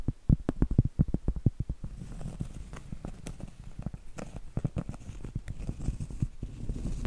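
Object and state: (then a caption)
Round cork trivet. Long acrylic nails tap and scratch the surface of a large, thin, flat, solid round cork trivet held in both hands. Quick, dull, low taps with almost no ring come in a fast run for about two seconds, then give way to a soft, steady scratching with scattered taps and a few brighter clicks.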